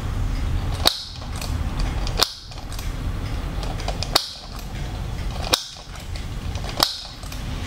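A brown-haired Blythe fashion doll with a hard plastic hollow head is held in hands while fingers work its eye-change mechanism, switching the eyelids and eye colour. Five sharp, bright mechanical clicks ring out at uneven intervals, each very short with almost no ring, over a steady low rumble of handling noise.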